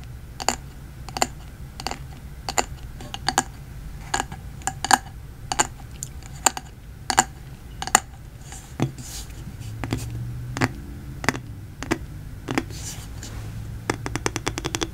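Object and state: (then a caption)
Glass candle jar. Fingertips and nails tap and scratch the side of a medium yellow glass candle jar with a paper label, a solid wax fill and a metal lid, held close. Crisp, short glassy taps with a faint mid-pitched ring come in an irregular rhythm. In the middle, softer rasping scratches take over before a fast flurry of light taps closes the clip.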